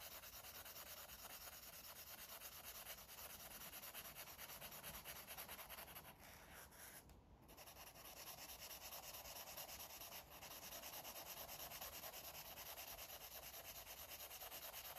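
A green felt-tip marker rubs continuously across a thick, flat stack of white paper pages in a coloring book. It makes a steady, bright, scratchy friction hiss with a fast back-and-forth rhythm and a brief lull around the middle before the strokes resume.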